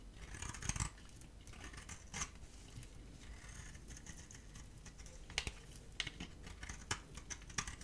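A metal utility-knife blade scrapes and cuts a dry, solid, rectangular cream soap bar held in the hand, curling flakes off it. Quiet, crisp, dry scratching runs throughout, broken by sharper bright clicks and snaps as the blade bites in, with a faint low rumble underneath.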